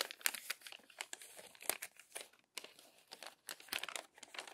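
Hands smooth and unfold the crumpled pages of an open glossy paper magazine, making a quiet run of crisp crinkling. The sound is made of many short, dry, bright crackles and rustles with almost no low end. The bursts come in irregular clusters separated by brief pauses.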